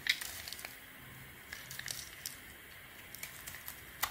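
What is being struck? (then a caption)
Bar of soap. A palm-sized solid beige Weleda bar soap, held in the hand, is carved and scraped with a small metal knife blade, with shavings falling off. The clip is quiet, soft, crackly scraping and crinkling with crisp, bright little ticks scattered throughout, and a sharper click near the start and again at the end.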